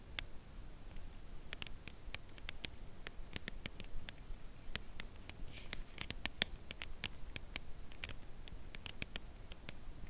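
A full, slim cardboard chocolate bar box is held edge-on and slowly tapped with long nails. The result is a steady series of sharp, dry, bright clicks that die away almost at once, over a faint low background rumble.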